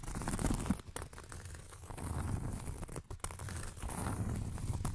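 Long nails scratch the surface of a round, thin, solid cork coaster close to the microphone. The result is a dense, continuous rasping scrape, weighted toward low frequencies, with a few brief pauses where the strokes break off.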